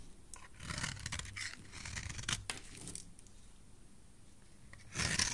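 A utility knife blade shaves a solid, hand-sized orange oval soap bar held in the hand, carving off thin curls. Bright, crisp scraping strokes come in quick bursts over a soft low rumble, then ease into quieter rasping before a louder, sharper scrape at the end.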